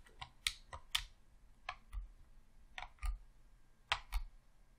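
Thumbs rapidly click the D-pad and buttons of a hollow, red plastic Xbox controller. The result is a series of sharp, bright plastic clicks, some in quick pairs, each with a soft low thump and almost no ring. Quiet pauses fall between the clicks.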